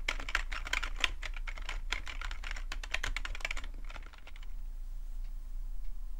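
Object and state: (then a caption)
Plastic computer keyboard. Both hands type with their fingertips on a black, full-size plastic computer keyboard, producing a rapid run of short, bright clicks for about four and a half seconds. The typing then stops, leaving only a steady low hum.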